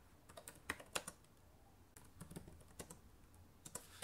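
Rapid typing with fingertips and long nails on the plastic keys of a black laptop keyboard. Quiet, irregular clicks and taps come in uneven bursts, with brief bright clacks and low hiss between them.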